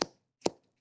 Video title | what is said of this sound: Must Have Ideas - Live Stream | you can hear against my mic how crisp that is